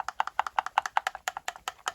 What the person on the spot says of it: so when you hear that you just shake it a bit so that all the color is being divided evenly in the fluid